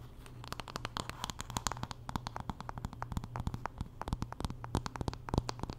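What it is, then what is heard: Wooden paddle hairbrush. Long nails scratch along the handle and back of a wooden paddle hairbrush while the brush is turned in hand. Quick, dry, sharp scratches and clicks with bright edges follow one another closely for the whole clip, each dying away almost instantly. A steady low hum sits underneath.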